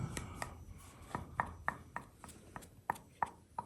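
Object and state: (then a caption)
Hollow, detached wall patch. An old patch of clay and concrete on a cellar wall, already partly pulled off by hand, is tapped 11 times, giving short, dry knocks that die away almost instantly. The knocks sound hollow because the patch is not attached to anything and is just sitting on the wall.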